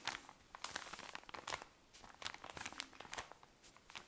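A tall cylinder of cotton pads in thin plastic wrapping is squeezed and scratched with long nails. The result is quiet, bright, crisp crinkling and crackling in quick, uneven bursts, with almost no low end.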